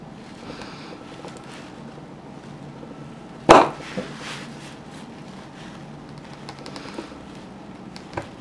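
A small metal blade shaves and scrapes a solid wine-red wax pillar candle resting on a painted ceramic plate, held by a hand with long red-painted nails, breaking off crumbly wax flakes, with the sound played in reverse. Soft, steady scraping runs throughout, broken by one sharp, bright crack about halfway through, a smaller tap just after it, and a last faint click near the end.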